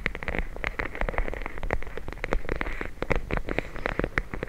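A full plastic bag of gel beads is held in the hands and tapped and squeezed with the fingers and nails. Rapid, dense taps and crinkly plastic clicks with a brighter edge run over a soft, squishy low rumble, and each click stops almost at once with no ring.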